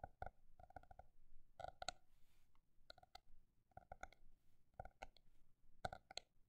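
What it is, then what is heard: Notebook tapped. A paper notebook is tapped at both fast and slow paces, giving about sixteen short, dry clicking taps in uneven clusters. Each tap has a hollow tone near 730 Hz with brighter overtones and dies away almost at once, over a quiet background.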